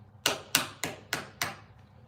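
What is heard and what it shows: A heavy metal American Express credit card is tapped five times, giving sharp, bright clicks with a clear ringing tone that dies away quickly after each hit. The solid metallic sound sets it apart from a regular plastic card.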